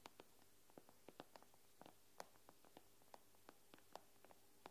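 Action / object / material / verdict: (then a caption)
tap / glass tablet screen tapped with fingernails / glass / none. Long nails tap and scratch on the glass screen of an iPad tablet, giving a scattered run of quick, sharp clicks with bright edges. The clicks die away almost instantly over a faint, steady low hum.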